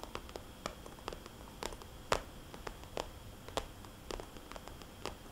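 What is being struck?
Glossy plastic cosmetics bag.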